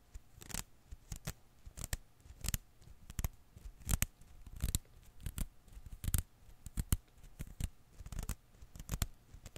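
A hand-sized blue and green rubber-filament Koosh ball is held in one hand while the other hand's fingertips pluck and scratch its strands. Short, dry snapping clicks come at an irregular pace over a soft, low, rustling bed. Each snap dies away almost instantly.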